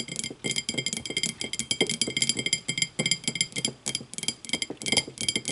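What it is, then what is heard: Glass tumbler. Long matte nails of both hands tap rapidly and irregularly on an empty, clear, thick-bottomed glass tumbler standing upright. Quick bursts of bright, high clinks ring briefly around 3.2 kHz, with soft, dull knocks underneath.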